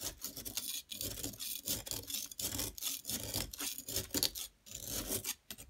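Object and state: Plaster block being scraped.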